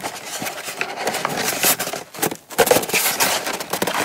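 Long nail tips scratch and tap the lid edge and side of a small, hollow brown kraft cardboard gift box with its lid on, then both hands hold and scratch the box. The result is a dense, dry, bright scratching and crackling texture with light taps mixed in and a brief quiet gap midway.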